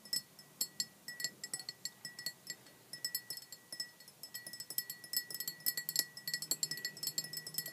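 A clear glass measuring jug with a printed scale, partly filled with red liquid, is tapped with long black-painted nails. The result is a rapid series of bright, high-pitched glassy clinks and ticks with very short ring. The taps run irregularly throughout, growing denser toward the end.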